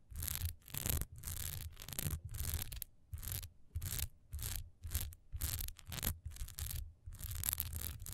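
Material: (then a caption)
Wax. Long nails scratch quickly along the sides and top edge of a single solid wax pillar candle with a diamond texture, standing upright. The clip is a rapid series of short, dry scratching strokes separated by brief pauses. Each stroke carries a soft low rumble beneath a bright, hissy rasp.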